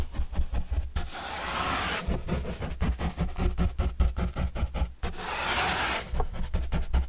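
A paintbrush is rubbed across a large, flat, empty, hollow panel of white printed corrugated cardboard box with green edges, held upright by hand. Quick, irregular scratchy brush strokes sound over a deep, boomy low thrum. Two longer, steady, bright hissing sweeps come partway through.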